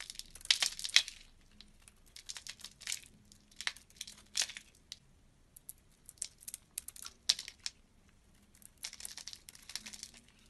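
A blue-handled utility-knife blade scrapes flakes off the surface of a hand-held, oval, solid blue bar of soap. The scraping comes as quiet, irregular bursts of dry, crisp, crinkly noise, bright and hissy with almost no low end, over a faint low hum. Each scrape stops short with no ring.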